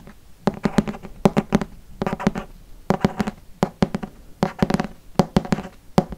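A green hardcover Harry Potter book held in front of the face has its cover tapped rapidly with fingertips and nails. The taps come in quick clustered bursts of dry, hollow knocks with a low resonance of about 190 Hz and almost no ring.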